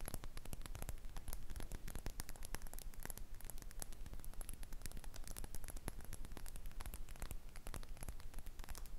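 Long red acrylic nails tap and scratch a small, hollow, red glossy glass cosmetic bottle held upright. Quick, sharp clicks and scrapes overlap at an uneven pace of about three per second for the whole clip, over a low hum and a faint static-like hiss.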